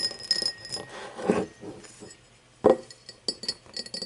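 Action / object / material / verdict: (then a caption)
tap / empty cut-crystal glass tumbler / crystal glass / none. An empty cut-crystal glass tumbler, first standing upright and then turned with its mouth facing forward, is tapped with long nails. Irregular bright clinks and short glassy chimes ring out with a pitch around 520 Hz, mixed with softer scratchy ticks.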